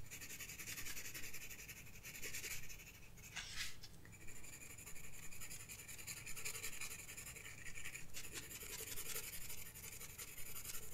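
A graphite pencil rubs and scratches in shading strokes across a flat paper sketchbook page. A steady, bright, papery scratching runs throughout over a low background rumble, with brief shifts in the strokes around the middle and later in the clip.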